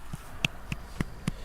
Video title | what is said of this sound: Everglades National Park: Invasion of the Burmese pythons (reprise) | can kind of hear that Hollow sound of her belly when I tap it gently